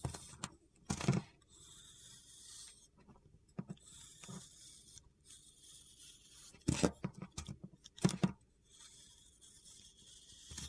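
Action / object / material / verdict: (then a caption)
scrape / bar of soap scraped with a metal blade / soap / none. A metal utility knife blade scrapes and flakes the surface of a solid blue rectangular soap bar held in the palm, and chips fall off. Short, crisp scraping bursts come in uneven clusters, separated by quiet stretches with a faint high hiss.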